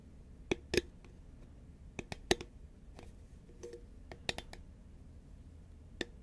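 Long nails tap a hollow green Pringles paperboard chip tube held at an angle, giving about ten sharp, dry clicks at irregular intervals over quiet background hiss. Each tap is brief, with a faint hollow knock in the low-mid range, bright click tops, and almost no ring.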